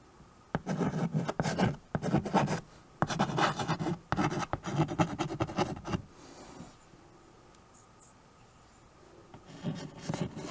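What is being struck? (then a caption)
Chalk on a wood-framed chalkboard. A white chalk stick writes and scratches across a small, solid, flat wood-framed chalkboard. Bursts of dry, gritty scraping strokes run from about half a second to six seconds. A quiet pause follows, then a few more strokes near the end.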